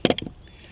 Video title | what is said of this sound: Chaleco o placa a prueba de bala | hay que sacudirlo. Esto parece una maraca